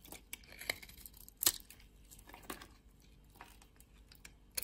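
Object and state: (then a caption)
Bar soap being carved. A metal blade cuts chunks and flakes off a red and white bar of soap held in fingers with long nails. The result is a series of crisp, bright scraping and crumbling cuts with quiet gaps between them, the loudest near the middle and at the end.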